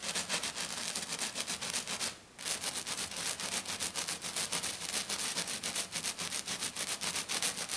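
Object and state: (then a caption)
Glitter-covered sheet being scratched. Both hands with black nails scratch hard and fast across a flat silver glitter-covered sheet. The result is a steady run of bright, rasping strokes, about three or four per second, with a brief pause just after two seconds before the scratching resumes.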